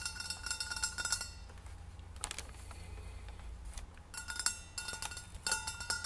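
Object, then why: Stainless steel insulated bottle. Long nails and fingertips tap and rub the sides of a hollow rose-gold stainless steel insulated bottle, about 750 ml, standing upright on tissue paper with a cardboard hang tag on top. Bursts of quick, bright metallic clicks and pings with a high ringing tone open and close the clip, with a softer stretch of scratchy rubbing in between.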